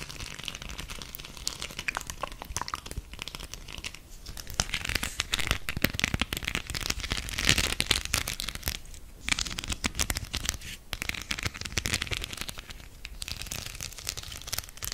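A flat, octagonal beaded coaster with a spider web design is scratched and rubbed with long nails while held close to the mic. The result is a dense, bright crackling and crinkling of rapid clicks that swells louder in the middle before easing off again.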